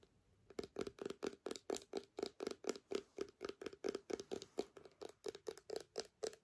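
Long nails tap and scratch a small clear plastic hand sanitizer bottle with a white flip cap, partly filled with gel. About 30 quick, quiet, uneven clicks follow one another at roughly two per second. Each carries a short hollow tone near 430 Hz that dies away almost at once.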